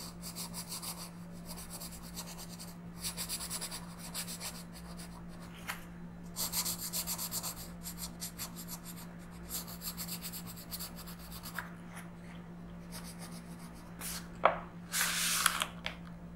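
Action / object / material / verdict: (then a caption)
scrape / colored pencil on paper / paper / none. A blue colored pencil is rubbed in dense shading strokes across a flat paper coloring book page. Bursts of bright, scratchy rasping come and go over a steady low hum, with a louder, sharper scrape and a brief harsh flurry near the end.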